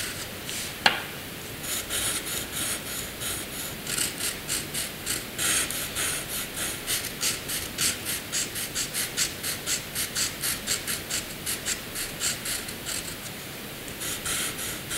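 A black wooden graphite pencil, held in the hand, scratches across a flat sheet of white drawing paper on a hard surface while drawing and shading a small box with dense strokes. A sharp tick near the start gives way to a steady run of quick, rhythmic, bright rasping strokes with little low end, swelling and easing as the shading goes on.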